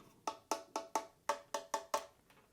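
Eight sharp taps on the second hard plastic wing of a Masterlise Expiece One Piece figure produce dry, clicky knocks with a hollow, woodblock-like tone around 880 Hz. Each tap dies away almost at once, with a little bright edge on top.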